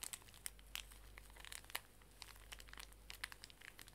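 A full, small pink plastic-film pocket tissue pack is crinkled and squeezed in the hands while long nails scratch the film. Quick, bright crinkles and crackles with sharp ticks come in uneven bursts, centered around 2 kHz, over a faint steady low hum.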